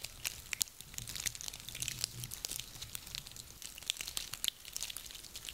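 A handful of small, dry, woody pine cones is squeezed and rubbed between hands. It produces a dense stream of bright, crisp crackles and crunchy clicks, with a few sharper snaps standing out over a faint low hum.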